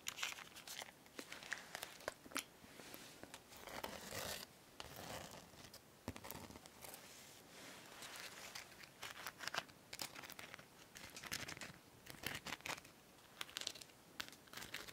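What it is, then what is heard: Plastic masquerade mask with rhinestones. A gold plastic masquerade mask with a rhinestone band and spiky top is held up and scratched and tapped with long nails. Quiet, bright scratching and crinkly scraping are broken by many sharp, short clicks and taps that die away almost instantly, with very little low end.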